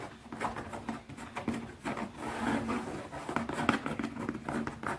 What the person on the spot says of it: ASMR | Fast tapping on a leather pouch 🐃